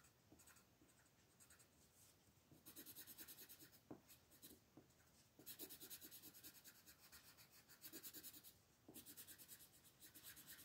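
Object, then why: Colored pencil on a paper coloring page. A grey colored pencil shades the stones on a new black-and-white paper coloring page lying flat, using small rubbing strokes while a long-nailed left hand rests on the paper. Quiet, bright, scratchy pencil-on-paper rubbing comes in rhythmic bursts of quick strokes, with softer pauses between them.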